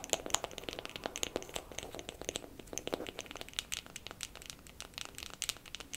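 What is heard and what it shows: A wooden makeup compact is tapped quickly with fingernails for ASMR. The result is a steady run of short, dry, bright clicks with a crinkly texture and almost no ring or low end.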